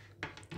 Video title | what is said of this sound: So haben Großmütter Landhaus Brot gebacken, wenig Kneten mit Leinsamen #125 | звучи на кухо - защото само тогава хлябът е наистина изпечен и готов